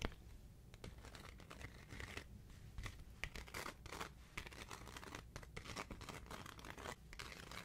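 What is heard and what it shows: A thin, roughly hand-sized paper sheet of colorful stickers with a white backing is held in one hand close to a microphone while the other hand's fingertips and long nails rub, flip and peel at it. Continuous quiet crinkling, scratching and tearing sounds with bright, sharp bursts of rustle ride over a low steady rumble.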